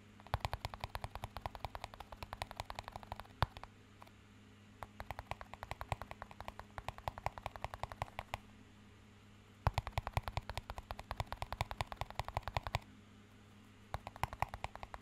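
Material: Plastic.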